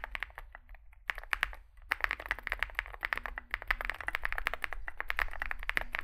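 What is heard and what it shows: Fingertips type continuously on a small 65% Zoom65 mechanical keyboard with a dark case and white and grey plastic keycaps. Rapid, short, clacky keystrokes with a bright, mid-high tone come in a steady stream, with a brief lull early on. A low hum runs underneath throughout.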